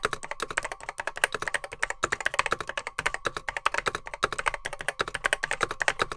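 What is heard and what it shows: Fingertips type rapidly on a beige plastic Apple M0110B keyboard with grey plastic keycaps, its hollow case holding mechanical switches. A dense, steady stream of sharp, short clacks rings in the mid range around 1.5 kHz with bright edges and little low end, each stroke dying away almost instantly.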